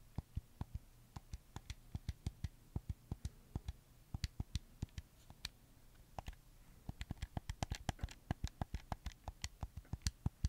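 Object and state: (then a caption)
Plastic game controller. Fingertips press and scratch the buttons and sticks of a red camo PS4 controller made of hollow plastic, close to the mic. About 38 short, dry clicks and taps with a low, hollow body and bright edges sound over a quiet low hum. They come in a steady patter that quickens and grows louder in the second half.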